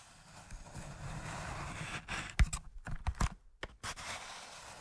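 A large cardboard matchbox with its drawer partly open is tapped and scratched on its side with fingertips and nails. Soft, dry scratching gives way to a cluster of sharp, close-up taps with brief silent gaps between them. The sound is mostly low and dull, with short clicks that die away almost at once.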